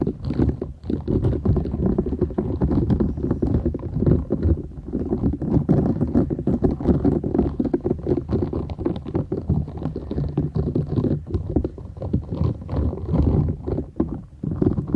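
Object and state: Silicone scrubber sponge.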